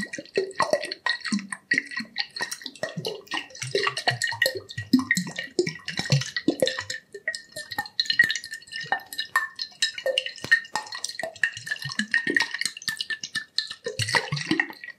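A glass liquor bottle, partly filled with liquid, is held tilted close to the microphone and tapped with the fingertips. Many quick, soft taps give short, bright glassy clinks, mixed with gurgling, drip-like sloshing from the liquid inside. The tapping runs steadily throughout, with a faint ringing tone threading through.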